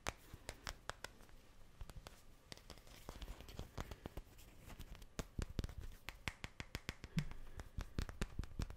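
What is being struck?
Small wooden cubes.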